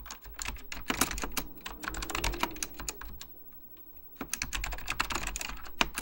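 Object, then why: Plastic mechanical computer keyboard. Fingertips type continuously on a beige plastic full-size Apple Extended Keyboard II, its hollow plastic keycaps pressed over mechanical switches in rapid, repeated taps. The bright, clacky keystrokes come in quick bursts, ease into a brief lull near the middle, then pick back up over a faint low hum.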